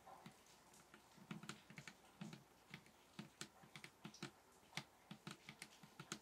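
Fingers tap on a table top in a quick, uneven series of soft, bassy taps. Each tap has a low thump with a brief bright click on top and dies away almost at once. The tapping stays quiet and close throughout.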